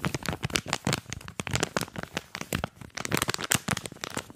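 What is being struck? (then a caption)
Cardboard card with clear plastic blister. A small earphone retail package, a printed card backing with a clear plastic blister, is held in both hands while the plastic is crinkled and squeezed and the card is scratched with fingers. The result is a dense run of sharp, bright crackles and crinkles with short scratchy bursts, each snapping off almost instantly.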